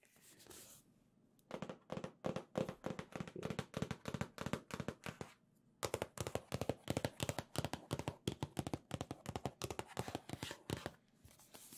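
Long nails rapidly tap and scratch a medium red Nintendo-branded cardboard box, hollow with contents inside, held in both hands. The short, dry, hollow taps come in quick bursts with a brief pause partway through. Soft scratching fills the quieter moments at the start and end.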